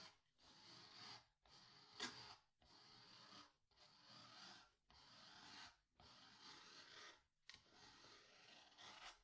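Fingertips rub and press a diagonal strip of paper masking tape down onto a small white cotton canvas stretched on a wooden stretcher frame, hollow behind. About seven soft, airy rubbing passes are heard, each a bright, hissy swish separated by short pauses, with a sharp tick near the second pass.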